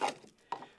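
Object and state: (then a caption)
Solid fill material in boat bilge. Two sharp, short knocks with a fainter tap between them as an unknown fill material is probed in the salon bilge near the mast step of a 1936 wooden yacht. The fill, first taken for poured concrete, gives a dry, wood-like tone with almost no ring, and it proves solid.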